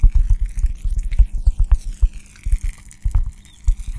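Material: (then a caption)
Cork. A round, flat, hand-sized solid cork coaster is held beside the microphone and scratched and tapped with long dark-painted nails. The result is a quick, uneven run of dull, muffled thumps with a soft scratchy texture on top and a faint steady low hum underneath.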